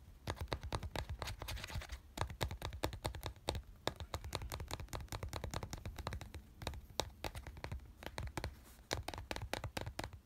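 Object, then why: Small plastic glue bottle. A fingertip and nail tap and scratch the label side of a small white plastic glue bottle with a teal label, lying on a yellow cloth. Rapid, dry clicks and scratchy strokes follow one another almost without pause, each a short bright tick over a soft low thump. The taps stop dead with no ring.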